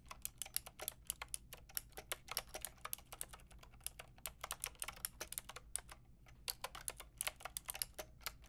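A full-size pink, grey and white mechanical keyboard with round plastic keycaps is typed on with fingertips and long nails. It makes a steady run of dozens of quick, bright clicks that stop almost instantly, with a brief pause near the middle. The clicks sit over a quiet, faint low hum.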